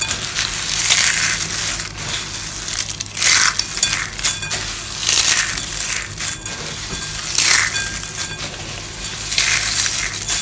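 Pink and blue dry soap curls are crushed by hand into small flakes in a white bowl, the fingers pressing and rubbing the pile. Heard are bright, dry crunching bursts that swell and fade in repeated waves, with a crisp, crackly high-frequency texture between them.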